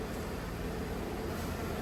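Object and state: Nothing is struck.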